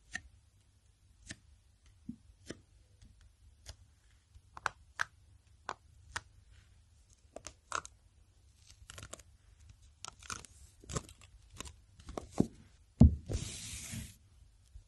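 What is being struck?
Hardcover notebook in plastic shrink wrap.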